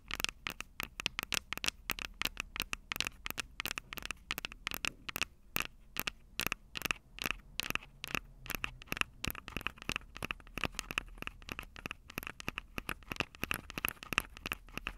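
Long purple nails on both hands scratch and tap the small metal X/Y microphone capsules on top of a plastic Tascam DR-05 recorder, the same mic doing the recording. The result is a rapid, uneven stream of sharp, dry clicks and scratchy scrapes with almost no ring, bright and close, centered around 2.6 kHz with little low end.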